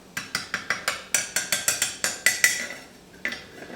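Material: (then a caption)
Bronze. Three small, freshly cast bronze bars, still hot from the mold, are knocked and clinked, and one bar has already solidified. About fourteen short, bright metallic clinks sound in a quick steady run, pause, then one last clink follows. Each has a sharp high ring around 2 kHz that dies away almost at once, sounding like solid metal.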